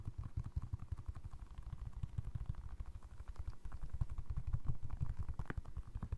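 A single navy blue Crocs clog of soft foam resin, a hollow shoe shape with ventilation holes, is held in one hand while fingertips and short nails tap and scratch its upper. The result is a steady run of quick, soft, low thuds mixed with light scratchy clatter, each hit dying away almost instantly.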